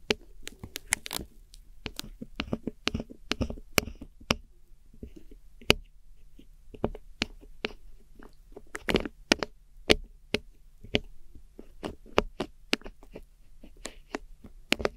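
A metal hook tool scratches and digs into a cream pressed powder eyeshadow pan set in a small square black plastic palette. Many quick, dry, crisp scrapes and crunchy clicks come in irregular bursts, bright and sharp with no ring, over a faint steady low hum. The pressed powder crumbles apart as it is scratched.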